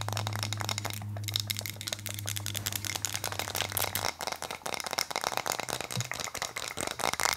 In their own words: 15:20 Tapping on wood